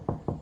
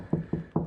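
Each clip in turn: First: Three short, dull knocks low in pitch; drywall backed by a wood stud, solid there. Second: Three soft, low knocks with a brief thud that dies fast: hollow drywall over an empty cavity.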